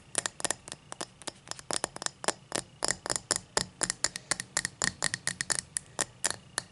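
Long matte black nails scratch along the cut pattern of a tall, empty cut-crystal highball glass resting on a towel. About 34 short, bright, scratchy bursts come in a quick, uneven rhythm, each dying away almost instantly, with a faint glassy shimmer and little low end.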